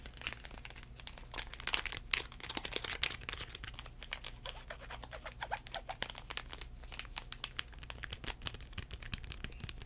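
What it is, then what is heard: Paper wipe packet, crinkled. A small, flat, white airline sanitizing wipe packet of paper and foil, filled with a wipe, is held in the hand and tapped and crinkled with the fingertips. Quiet, crisp crinkles and soft, rapid taps fill the clip, bright and high-pitched, over a faint, steady low hum.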